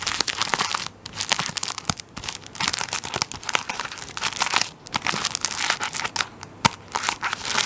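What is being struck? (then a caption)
Tissue paper roll in plastic film. A tissue paper roll wrapped in plastic film is held close, and fingers press and crinkle the plastic wrap on its end. Dense, bright crackling comes in bursts separated by brief quiet gaps, with very little low end.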